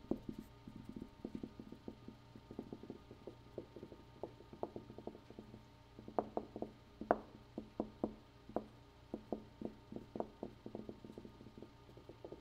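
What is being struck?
Room wall.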